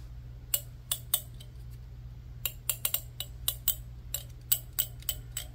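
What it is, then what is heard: Plastic comb. A fingertip plucks and scratches across the teeth of a large black plastic wide-tooth comb held in one hand, making sixteen short, bright ticks that stop almost instantly. A steady low hum runs underneath throughout.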